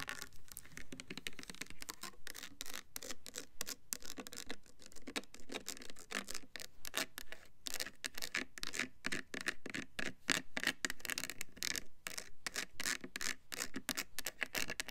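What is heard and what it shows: Long nails scratch and tap the side of a hand-sized, opaque white plastic Bath & Body Works foaming soap bottle with a pump. The result is a dense, quiet stream of dry, crisp scratches and light clicking taps.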